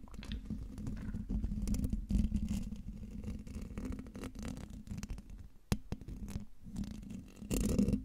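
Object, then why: Metal mesh microphone grille. Fingertips and nails scratch the hollow domed metal mesh grille of a silver microphone, making a dense, low, rumbling scrape with steady grainy friction. Brief sharp clicks and a louder, brighter burst of scratching at the end cut through.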